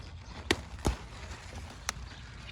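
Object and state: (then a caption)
Crisp, turgid kale leaf. A piece is broken off a kale plant growing in a garden, giving three short, crisp snaps with very little ring. The crisp sound shows the leaf is turgid: water pressure pushing against the cell walls keeps it firm and not wilted.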